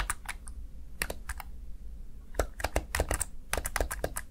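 Fingertips tap and press the keys of a small black plastic backlit Razer Tartarus Chroma gaming keypad. Short, dry plastic clicks with bright edges come in a quick, uneven run over a steady low hum.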